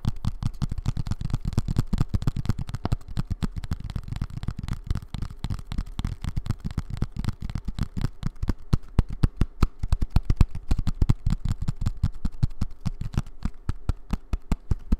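A small, hollow, brown kraft cardboard box is held in both hands and tapped and scratched with long red-painted nails. Rapid, dense tapping makes deep, hollow thuds that die away almost instantly, with a faint scratchy texture over the top for the full fifteen seconds.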